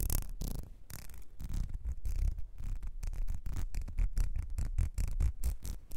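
Long nails scratch along a small ribbed clear glass perfume bottle with a gold nozzle, partly filled. The result is a fast, rough run of short scraping strokes with a low, rumbling body that rises and falls in quick bursts.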